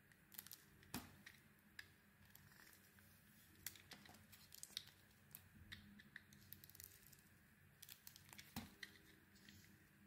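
Someone carves a solid, oval bar of soap with a red coating and a white core using a utility knife blade. The clip is quiet, with soft, irregular scraping and crisp, bright cutting sounds and occasional sharper snaps as pieces of soap shave off.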